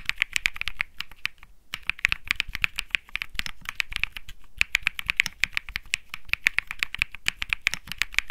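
Fingertips type rapidly on a compact 65% Think 6.5 mechanical keyboard with plastic keycaps, a PC plate and Bsun Lollipop linear switches. A dense, steady stream of short, bright clacks centres around 2.3 kHz, with only brief pauses near 1.6 and 4.5 seconds. Each keystroke stops almost instantly with no ring.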